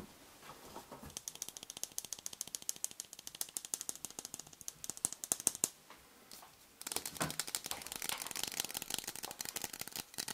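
Fingernails tap and scratch a green Schick ShaveGuard aerosol shaving foam can, a cylindrical metal can topped by a plastic cap, held in one hand. Dense, bright ratchet-like clicks run for several seconds, pause briefly, then return as faster, scratchier clicking. The clicks are sharp and dry with almost no ring.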